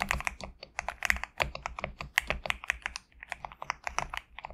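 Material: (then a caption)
PBT plastic. Fingertips type steadily on a compact GMK67 mechanical keyboard with PBT plastic keycaps resting on a desk mat. It makes a quick run of crisp, bright clacks centered around 2 kHz, each cut off at once with almost no ring and little low-end thump.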